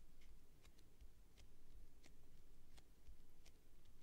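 Long nails tap and scratch the sides of a clear plastic tube container with sponges inside and a printed label. Quiet, sharp, bright ticks stand out over a low, steady rumble, and each one fades almost instantly.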